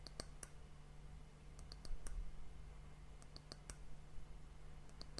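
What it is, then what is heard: Wooden bowl. Long nails and fingertips tap across the rounded outer surface of a small, hollow, dark polished wooden bowl held close to the microphone; the bowl appears empty. The taps come as sharp, bright clicks at an uneven pace, each dying away almost at once, over a quiet, steady low hum.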